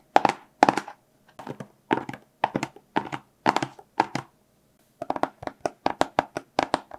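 A small, hollow, blue-and-white printed cardboard product box is held in both hands and tapped with fingertips and short nails. The taps come in quick clusters of dry, hollow clicks with a faint mid-pitched resonance and almost no ring, separated by short pauses and speeding into denser bursts toward the end.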